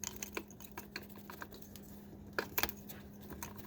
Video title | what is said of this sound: Honda Accord V6 Valve Cover Gasket Replacement & P0104 Code Fix | long as you hear that rattle you know it's good